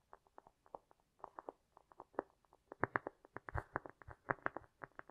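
Both hands tap quickly and scratch with long nails across the top of a round, flat, solid cork coaster disc resting on a fur rug, with an echo effect applied. About twenty-two soft, dull, hollow-sounding taps land in irregular bursts, centered in the midrange around 390 Hz, with faint scratchy texture between them. The taps grow louder and denser after the second mark, including a brief, fuller rustling scrape near the middle.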